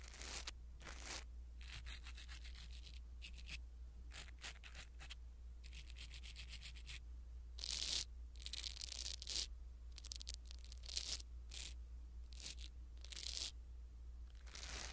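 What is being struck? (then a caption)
Foam microphone windscreen. A blue silicone-bristle ear pick brushes a small black foam windscreen on a pin microphone, making soft, bright rustling and scratching strokes. The strokes come in bursts of varying length over a steady low hum.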